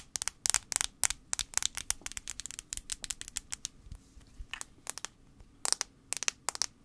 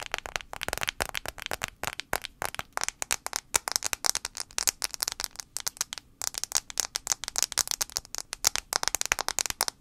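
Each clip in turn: First: Rapid fingernail taps on a plastic phone back give bright, dry clicks that stop at once. Second: Rapid, bright fingernail clicks on a phone's glass screen, each one a dry tick with no ring.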